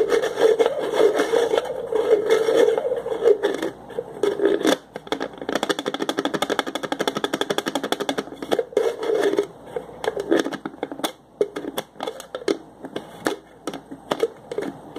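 Fingertips twist and rotate the red plastic screw lid on a small clear plastic cup. The result is a steady plastic scraping and grinding with a mid-toned hum, breaking into rapid runs of fine clicking as the threads turn. Each click stops dead with almost no ring.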